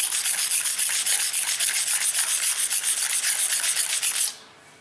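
A steel kitchen knife is rubbed at an angle along a dark grey rectangular whetstone under fingertip pressure, sharpening it. Quick, steady back-and-forth scraping strokes make a bright, hissing grind with almost no low end. The strokes stop suddenly just after four seconds, leaving near silence.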